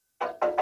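Knocking on the steel front bumper of a 1999 Daihatsu Taft Rocky gives three sharp, woody-sounding knocks with a short ring pitched around 600 Hz. The bumper is solid iron, not crumbly or rusted through.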